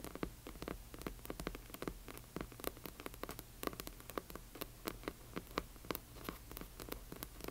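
Long nails tap and scratch across the front cover of a large hardcover book. Quick, sharp, dry clicks come in an uneven rapid stream, with soft scratchy texture between them and a steady low hum underneath.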